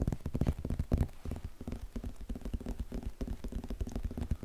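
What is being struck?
Cloth-bound hardcover book.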